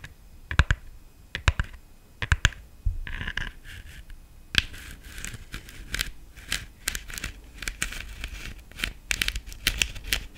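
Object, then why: Glittered plastic decorative pumpkin. Long nails tap the stem and body of a black, glitter-covered hollow plastic decorative pumpkin. The result is a run of sharp, dry clicks with a bright, crackly edge that die away almost at once, with soft scratchy rustling from the glittered surface between the taps.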